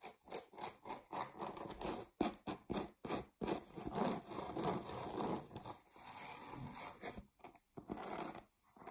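Long nails scratch the edge and face of a flat, solid, round cork board. The result is a run of dry, rasping scrapes in irregular bursts, some short and some drawn out, with brief silent gaps between them. The sound is mostly mid-range, with a faint high hiss on top.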